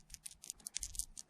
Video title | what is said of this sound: Finding Mushroom Rhyolite // Cleaning rocks with Muriatic Acid //#thefinders | these little black rocks are obsidian. It sounds like glass.